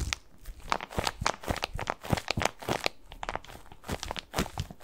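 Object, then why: Padded plastic mesh bath pillow. A medium-sized white bath tub pillow covered in textured plastic mesh and softly padded is held in both hands and scratched and squeezed with fingertips close to the microphone. The result is a dense run of short, dry crinkling and scratchy rasps that cut off quickly, with soft, low thuds underneath and bright edges on the sharper scrapes.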